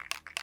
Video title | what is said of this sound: How to Paint Your Firearm: Using Brownells Aluma-Hyde II | You hear the ball rattling.